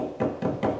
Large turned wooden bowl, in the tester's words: it's a dull thud. It's still very wet.